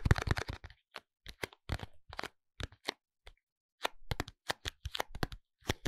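A small pink cardboard soap box is turned between the hands while fingertips and nails tap and scratch its sides and barcode face. Short, dry taps and crackling scratches come in quick clusters, each with a low, hollow body and a bright papery edge. The sounds die away almost instantly and are separated by brief silent pauses.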